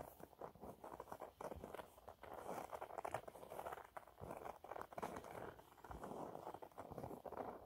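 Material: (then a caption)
Fabric. A yellow waffle-textured cleaning cloth, held upright, is scratched quickly and lightly with fingernails. The result is a quiet, dense patter of soft, dry scratches centred in the mid-range, with little low-end body and only faint brightness. The scratching comes in uneven bursts that swell and ease throughout.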